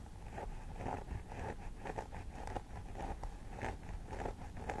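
Long nails scratch along the centre part of a life-size plastic doll head with synthetic hair, using one hand or both. Dry, crisp scratching strokes repeat in a steady rhythm over a low, rumbling background at a fairly quiet, even level.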